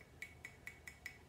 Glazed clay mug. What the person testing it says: it's gonna have a ceramic ring to it so when you flick it it's gonna sound like clay